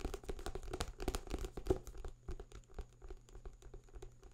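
A thick paperback book with a paper cover and pages is held up in one hand near the microphone while fingertips scratch and rub its cover and page edges. Quiet, dry, irregular scratching and papery rustling with soft tapping bursts, fading slightly toward the end.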